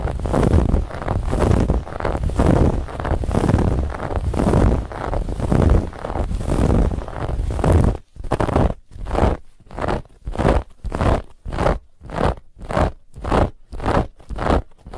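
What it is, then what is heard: Fabric pillow scratched. Long fingernails scratch and squeeze a soft, stuffed white fabric pillow with a woven textured band. For about eight seconds the scratching is a dense, continuous rough rustle, heavy in the low end with a faint bright hiss on top. It then breaks into a steady rhythm of separate scraping strokes with short silences between them.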